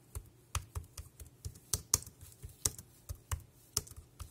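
Fingertips type quickly on the round keys of a dark grey plastic wireless keyboard resting on a plastic sheet. The result is a brisk, uneven run of short, dry clicks, each with a low thud under a bright plastic tick and almost no ring.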